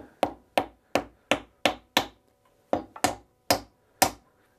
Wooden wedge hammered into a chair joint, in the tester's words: listen to the sound as i tap this in you hear it getting more solid